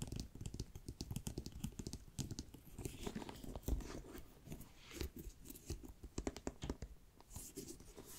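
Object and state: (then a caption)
Faux leather bag handle. Long nails scratch along the brown-edged faux leather top handle strap of a black pebbled backpack, which has a metal ring. The result is a quiet, close stream of quick rasping, crinkly scrapes with a soft low thud beneath and bright scratchy edges on each stroke.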